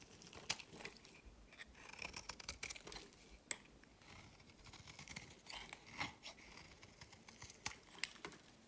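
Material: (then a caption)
Soap. A palm-sized solid white bar of soap, held in the hand, has its edges scraped and shaved into flakes with a metal utility-knife blade. The result is a quiet run of bright, dry scraping and crisp shaving sounds, punctuated by many short sharp clicks and snaps.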